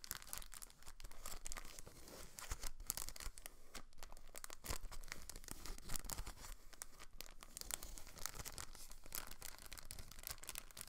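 A thin clear plastic packaging bag holding a blue rotor guard from a Protocol Slipstream quadcopter stunt drone is held in both hands and crinkled and rubbed by fingertips with long nails. The result is a quiet, continuous stream of dry, crackly crinkling with short sharp bursts that have a bright edge.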